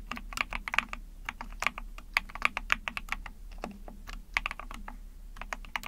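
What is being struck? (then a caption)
Plastic mechanical keyboard. Rapid typing with long painted nails and fingertips on a small 44-key Epomaker TH40 mechanical keyboard with an ABS plastic case, PC plate and backlit pink and white keycaps. It makes a quick run of sharp, bright plastic clacks with a thin low thud. Each keystroke is dry and stops instantly.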